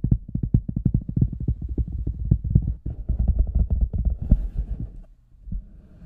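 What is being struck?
Large rubber boot.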